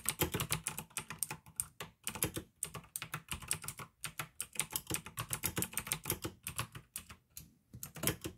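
Fingertips type steadily on a pink AUKEY plastic mechanical gaming keyboard with blue switches. The result is a fast run of crisp, bright clicks over a low thock from each keystroke, with short pauses between bursts.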